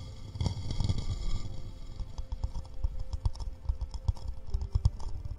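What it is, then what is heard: Wooden bowl tapped with fingertips. A small, hollow, empty, round wooden bowl is held in one hand close to the mics and tapped with the fingertips. The result is a quick run of soft, low, hollow knocks that die away almost instantly, with a faint bright tick on some taps.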